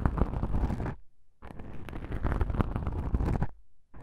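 Two black foam microphone windscreens are squeezed together and rubbed by a single fingertip with a long pink nail. The soft foam gives a muffled, rumbling scratch-and-rub that is mostly deep, with faint brighter hiss. It comes in dense bursts separated by short quiet gaps.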